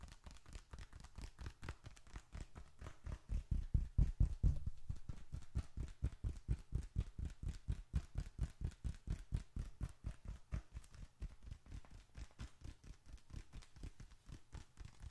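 Fingertips tap and pat the top of a small closed bifold wallet of reddish-brown leather, which rests on an open palm with paper bills and receipts inside. A steady stream of soft, dull, low thuds follows, roughly two per second and not quite even. The taps grow loudest around the fourth second, then settle back to a quieter patter.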